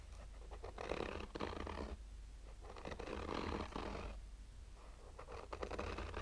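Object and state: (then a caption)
Fabric-covered hard sunglasses case being scratched. Short fingernails slowly scratch the textured fabric surface of a black oval sunglasses case with a hollow, rigid hard shell. Soft, raspy scratching comes in slow, drawn-out passes separated by brief pauses, over a steady low hum.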